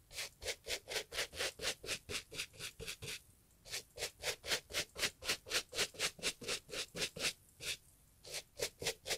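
A gloved hand scrubs a two-tone leather and fabric Italian loafer, hollow with a shoe tree inside and lying on its side, back and forth with a wooden bristle brush. About 26 bright, scratchy bristle swishes come in a steady rhythm of roughly four per second, with two short pauses between runs of strokes.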